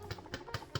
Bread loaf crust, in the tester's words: can you hear that hollow sound